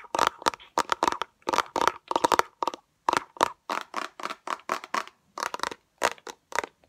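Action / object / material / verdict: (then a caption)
tap / small plastic bottle with liquid / plastic / none. Long acrylic nails rapidly tap and scratch a small transparent orange plastic bottle with liquid inside, held close up. The result is a quick run of short, dry, clicky bursts with a hollow plastic tone around 940 Hz and light scratchy texture, each dying out almost at once, separated by brief silences.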